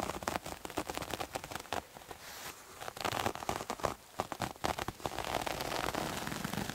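Fingernails scratch a bunched, soft, multicolored striped terry cloth towel, making dense, rapid scratchy crackles with a bright, rain-like texture. The scratching comes in busy bursts with a couple of brief quieter pauses, then settles into a steadier rasp toward the end.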